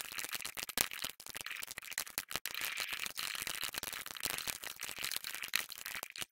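Fingertips of both hands rapidly tap and press keys across a plastic RGB-backlit computer keyboard with hollow plastic keycaps on a solid base. The result is a dense, continuous stream of bright, dry plastic clicks and clacks that stop instantly with no ring, and almost no low end.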